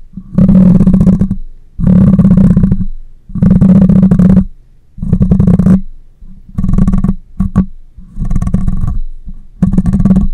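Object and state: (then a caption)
Metal mesh microphone grille. Long nails scratch the top and sides of a black microphone's metal mesh grille in repeated strokes, each lasting about a second and separated by short pauses. The sound is a dense, low, rumbling scrape centered around 176 Hz, with little high-end content.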